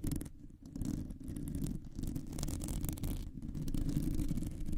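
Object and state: Metal microphone mesh grille being scratched.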